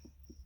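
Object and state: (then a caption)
Solid fresh earth plaster on earthbag wall. Two dull, low knuckle knocks on fresh earth plaster applied the day before over an earthbag wall, with a steady low hum and a faint high whine underneath. The plaster is still a little soft and leaves a mark on the knuckle, but it sounds solid.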